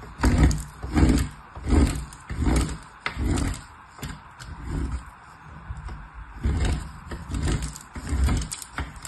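A small purple soap bar is rubbed in repeated strokes by long-nailed fingertips across the perforated face of a painted, hollow metal box grater held steady by the other hand. Each stroke makes a low, hollow rasping scrape with a bright gritty edge, at a loose, uneven rhythm of about 80 per minute. The strokes soften in the middle before growing stronger again.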